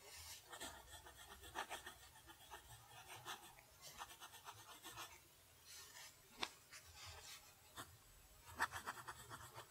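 A steel fountain pen nib writes cursive on a flat lined paper sheet, scratching its surface. Quiet, bright, raspy strokes come in short bursts with brief pauses, broken by a few sharp ticks where the nib catches.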